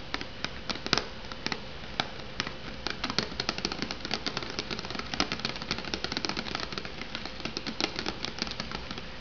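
Long purple nails tap and scratch the top edge and sides of a hollow, unopened Maruchan Instant Lunch cup in its printed cardboard sleeve, resting on a wooden board. A steady run of quick, dry, bright clicks and papery scratches follows, each dying away almost at once over a faint, steady low hum.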